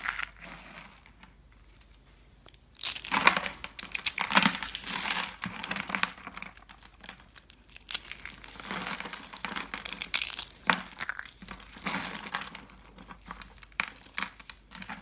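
Small hollow orange and green rolled dry soap curls are picked up and crushed between fingers into pieces. After a quiet start, bursts of dry, crinkly crunching and crackling come again and again, bright and brittle with very short decay.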